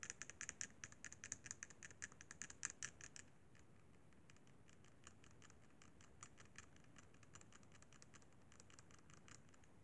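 Fingertips tap and scratch the buttons of a hollow, silver-white plastic Sony PSP handheld game console. Quick, bright plastic clicks come in a rapid stream, louder and sharper for the first three seconds. They then carry on as softer, lighter taps over a low, steady hiss.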